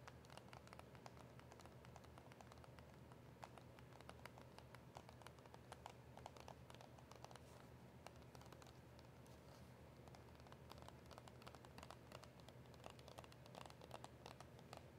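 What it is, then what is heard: Cardboard box with plastic window. Long nails tap and scratch across the front and clear plastic window of a small, hollow cardboard box of press-on nails. Quiet, rapid, crisp clicks and light scratching patter continuously over a low, steady hum, with short taps that fade quickly.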